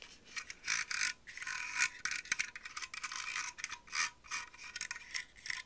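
A grey plastic heated hair straightening brush is held in the hands while long acrylic nails scratch and flick quickly across its rows of plastic bristles and tap its hollow handle. The result is bursts of dry, bright, crackling scratching with little low end, separated by short quieter gaps.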